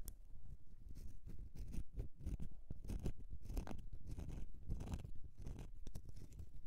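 An embossed solid bar of soap is held on edge while long nails scratch across it, leaving shavings. The result is a quiet, steady series of irregular scraping strokes, mostly dull and low with brief bright crackly streaks and very little ring after each pass.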